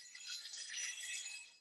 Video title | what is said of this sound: L8: Rotary to Linear Translation - Leadscrews and Ballscrews | hear that tinny sound to it?